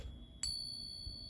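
A silver bullion coin gets a single ping test, giving one sharp strike and a clear, high tuning-fork-like ring that sustains to the end of the clip. The ring marks the coin as genuine silver. A steady faint high tone and low rumble sit in the background throughout.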